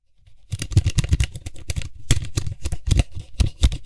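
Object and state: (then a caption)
Plastic cap of an aerosol spray can. Fingertips and nails tap and scratch the white hollow plastic cap of a Lysol disinfectant spray can with a metal body, twisting the cap in the hand. After a brief quiet start, a fast, dense run of short hollow taps begins, with low thumpy knocks and crisp, bright scratchy clicks that die away almost instantly.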